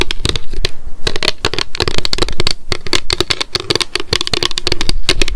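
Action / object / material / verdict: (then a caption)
tap / small clear plastic pump bottle / plastic / none. Long decorated nails tap rapidly on the sides and label of a small, square, clear plastic Loretta hair oil bottle with a gold pump and clear cap, held in both hands. Quick, dense bursts of sharp clicky taps with bright high ticks and a hollow low-mid body tone near 370 Hz follow one another, each tap dying away almost at once.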